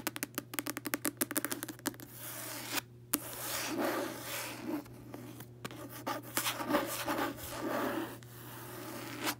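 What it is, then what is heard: Cloth-covered hardcover book. Long acrylic nails and fingertips tap and scratch the front cover of a closed, solid red hardcover book covered in cloth or paper over board, lying on a bed. A quick run of sharp, crisp taps opens the clip, followed by longer stretches of raspy scratching and rubbing, with a few scattered taps mixed in.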